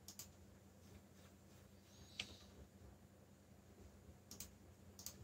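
Fingertips tap the keys of a backlit black plastic mechanical keyboard while typing, producing a few sparse, short, bright clicks spread across the clip, with one sharper click near the middle. The clicks ring briefly around 3 kHz and die away fast over a quiet, steady low hum.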